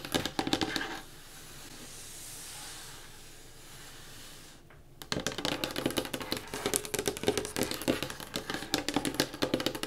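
Fingertips and long nails tap and scratch the flat top of a solid, dark-stained wooden table. A burst of quick, bright taps gives way to a softer, steady scratching hiss, then a brief pause before dense, fast, irregular tapping fills the rest of the clip. The taps are short and dry, with almost no ring.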